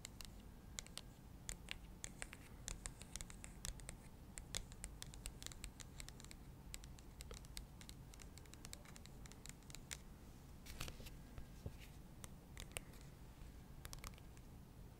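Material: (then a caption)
Cardboard. A thin, flat printed cardstock insert card is tapped and scratched quickly with long nails. The result is a rapid, dense run of short, dry clicks and bright scratching with no ring, over a quiet low rumble.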